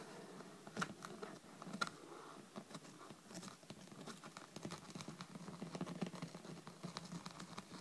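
Long red nails and fingertips rapidly tap and scratch on the cover of a thick, solid hardcover paper book lying flat on a table. The sound is a quiet, dense patter of short, dry clicks and scratchy strokes with almost no ring, with a few sharper taps standing out near the start.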